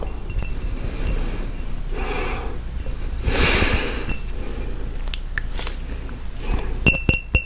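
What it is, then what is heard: Empty glass jar. A clear, empty, hollow glass mason jar with measurement markings is tapped on its side with fingertips and nails. It gives bright, ringing clinks with a tone around 2.7 kHz, between soft, noisy swells and a low rumble underneath. A quick cluster of sharper clinks comes at the end.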